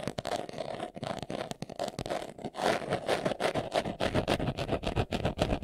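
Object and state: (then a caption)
Leather glasses case. Fingernails scratch quickly over the surface of a small, hollow, brown pebbled leather glasses case held in the hands. The result is a rapid, uneven series of dry, raspy scrapes, with a resonant tone around 600 Hz and short bursts reaching into bright, high hiss. The scratching grows louder and denser after the first few seconds.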